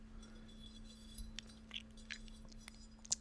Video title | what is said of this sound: ASMR Binaural Ear to Ear Ceramic Tapping | really delicate petals of the flower, which make like a glass-like sound